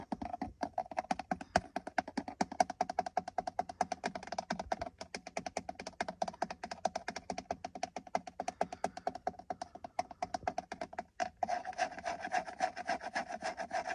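Fingertips and nails rapidly tap and scratch the hollow, textured hard-plastic center airbag cover of a car steering wheel. Dense, dry hollow clicks with a midrange tone fall in a quick, steady stream, each dying out almost instantly. Near the end, the tapping gives way to a denser, continuous scratchy rasp.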